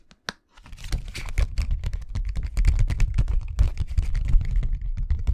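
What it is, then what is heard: Plastic document folder. A thin, flat, empty blue translucent plastic envelope folder with a snap button is held in both hands and tapped and bent with the fingertips close to the microphone. After a single sharp click and a short pause, a dense, fast stream of crackling taps and crinkles with a heavy low thump continues to the end.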